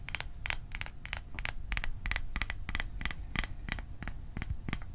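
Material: Thin metal.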